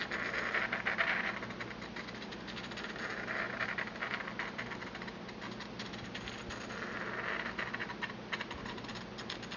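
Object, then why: Porcelain mortar and pestle. A porcelain pestle is ground and rubbed around the inside of a small, empty, hollow white glazed porcelain mortar held in the palm, worked by a hand with long red-painted nails. It makes a steady, scratchy grinding with a bright rasp near 1.8 kHz, swelling louder in waves around the first, fourth and eighth seconds.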